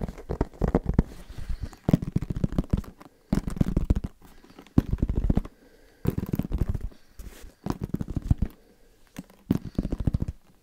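Fingertips tap quickly on the fabric-covered surface of a medium-sized, hollow, black semi-rigid hard-shell headphone case held in both hands. The tapping comes in short rapid bursts separated by brief pauses, each a flurry of soft, dull, low-pitched knocks with almost no ring and no bright edge.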